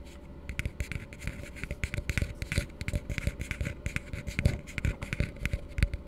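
An empty, hollow blue plastic tumbler held upside down is tapped and scratched with fingertips and nails. Dense, quick, short hollow taps with a low body are heard, mixed with dry scratching.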